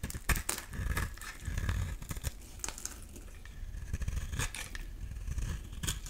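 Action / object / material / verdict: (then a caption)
scrape / bar of soap shaved with a metal blade / soap / none. A metal utility-knife blade shaves a solid oval blue bar of soap, now smoother, into curly flakes. Short, dry scraping and crinkling strokes repeat over a soft low rumble, with brighter crisp bursts on the sharper cuts.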